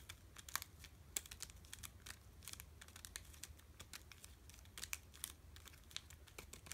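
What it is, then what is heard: Plastic candy bar wrapper. A sealed Hershey's Cookie Layer Crunch bar in a plastic wrapper is held in both hands and tapped and crinkled with the fingertips. The result is quiet, quick, bright crackles and sharp ticks scattered throughout, over a faint, steady low hum.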